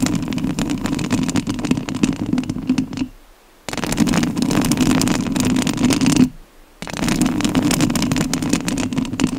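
Long nails on both hands scratch the metal mesh grille of a rhinestone-covered studio microphone, producing a dense, continuous rasping crackle with a heavy low-mid rumble. The scratching stops briefly twice, falling nearly silent for about half a second each time, then resumes at full strength.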